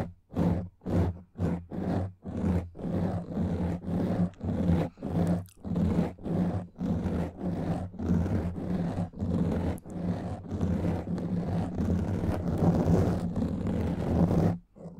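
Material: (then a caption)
Foam. Long nails slowly scratch and rub a black foam microphone windscreen. Deep, muffled, rumbling scrapes come in short separate strokes at first, then blur into near-continuous rubbing before stopping abruptly at the end.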